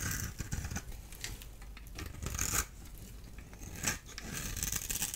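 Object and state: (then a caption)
Dry bar soap, scraped. A solid orange-and-white striped dry soap bar has its crumbly surface rubbed and scraped with fingers and a small blade tool. Dry, scratchy crackles and crumbling scrapes come in quick bursts, with bright hissing grit over a soft low rumble. The strongest scraping swells come near the middle and toward the end.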